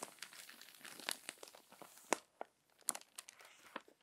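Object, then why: Paper magazine pages. A crinkled paper magazine is handled as fingers smooth its pages and lift and turn them. Soft, dry crinkling rustles run throughout, broken by sharp, bright crackles and brief quiet gaps. No low rumble sits beneath the papery sound.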